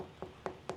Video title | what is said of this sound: Milton VS Lakewood Ranch and Sarasota | hear how that sounds Hollow